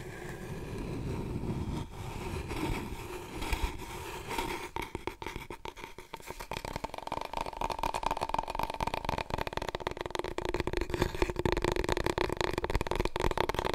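Long nails and fingertips tap and scratch a large, long, hollow, empty brown cardboard tube from a big paper roll, held diagonally and upright. Soft scratching in the opening seconds gives way to fast, continuous tapping with a hollow, resonant tone around 360 Hz that grows denser and louder toward the end.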